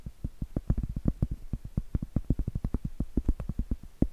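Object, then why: Cork trivet. Blue acrylic nails tap and scratch the flat face of a round, solid cork trivet held up close. A quick, steady run of soft, dull, muffled taps with a low thump and almost no bright edge, each dying away at once, with faint scratchy rustle between them.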